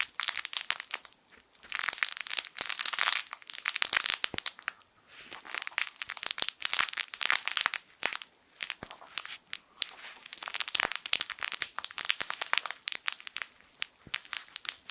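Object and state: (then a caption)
Plush crinkle toy with crinkle film inside. A yellow sun-shaped plush fabric crinkle toy with crinkle film inside is squeezed and scratched with fingertips close to the mic. It gives dense, bright crinkling and crackling with no low end, coming in bursts separated by brief quiet gaps.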